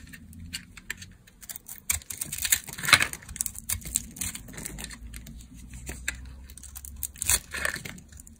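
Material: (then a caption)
Soap. A solid dark brown bar of dry laundry soap, held in the hand, has curls shaved off it with a utility knife blade. The result is a run of crisp, dry, bright scraping and crackling strokes with brief sharper peaks. Each stroke fades quickly over a faint low hum.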